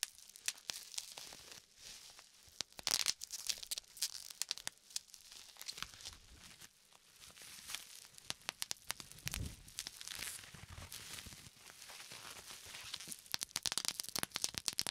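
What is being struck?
Plastic bubble wrap sheet.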